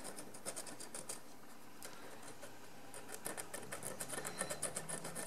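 A wooden stick scrapes the pale crust on a large encrusted ceramic jar lying on its side, in quick repeated strokes. Each stroke gives a short, dry, bright scratchy rasp. The scraping eases into a quieter stretch in the middle, then resumes in rapid, uneven bursts.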